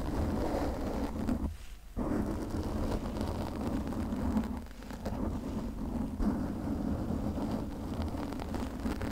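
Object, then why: Foam microphone windscreen. Long nails slowly scratch and rub a pink foam windscreen on a condenser microphone, producing a steady, dense low rustling with a faint hum near 200 Hz. The texture briefly drops out just before two seconds and softens again around five seconds before resuming.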